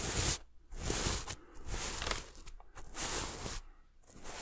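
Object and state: Sequin pillow scratched.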